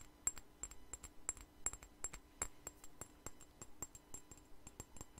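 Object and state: Glass perfume bottle.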